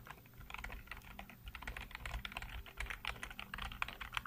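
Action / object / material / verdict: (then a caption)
tap / plastic computer keyboard / plastic / none. Fingertips type rapidly on a black plastic backlit computer keyboard, producing a dense run of quick, bright key clicks with short, dry decays. A faint low hum sits underneath the steady clatter.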